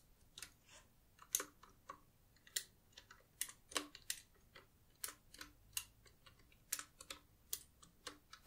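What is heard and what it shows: A black Qwerkywriter S, a desk-sized typewriter-style mechanical keyboard with round plastic keycaps on a solid body, is typed on rapidly by both hands with long nails, some fingers in black sleeves. The result is a string of short, bright, crisp key clicks at an irregular pace, each dying away almost instantly, with little low end.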